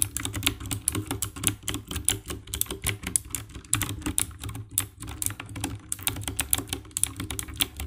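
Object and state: Plastic mechanical keyboard being typed on.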